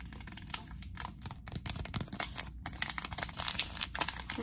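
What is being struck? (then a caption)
Paper tea bag envelope with a tea bag inside. A small, flat Yogi tea envelope made of paper, with a tea bag inside, is held in both hands and crinkled and scratched with long nails. It makes a soft, bright, dry rustle with quick, irregular crackles and sharp scratchy ticks. The crackling grows busier and crisper in the second half.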